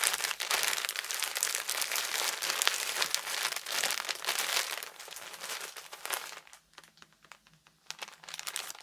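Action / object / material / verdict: scrape / thin plastic wrapper around a package of cloths / thin plastic / none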